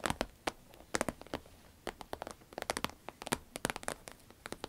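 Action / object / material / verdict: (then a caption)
tap / vinyl pencil case / vinyl / none. Fingernails tap and scratch a green vinyl pencil case, making a quick series of sharp, bright clicks and crinkly scrapes. The hits come in uneven bursts with very short decay, and the case stays mostly trebly with little low end.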